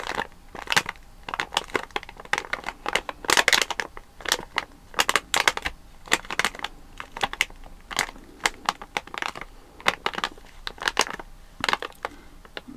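A full, sealed plastic foil bag of watermelon jelly candies is pressed and squeezed with flat fingers, crushing and crinkling it. Dense, bright crackles arrive in rapid, irregular bursts throughout, with almost no low end. Each crinkle stops almost instantly.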